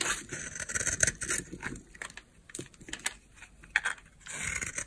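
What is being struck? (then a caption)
Bar of soap carved with a blade. A palm-size solid oval bar of dry white soap, held in the palm, is carved with a utility knife blade. Crisp, bright scraping and crackly shaving strokes come in quick bursts with short pauses between them, ending in a louder run of scraping.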